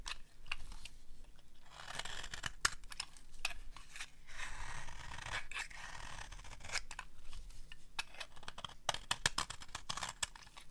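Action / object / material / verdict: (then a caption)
scrape / bar of soap cut with a small metal blade / soap / none. A small metal blade scrapes and shaves a palm-sized solid bar of dry orange soap held in long-nailed fingers. Dry, crisp crunching and scratchy shaving strokes come in bursts, broken up by sharp, bright clicks and brief quiet pauses.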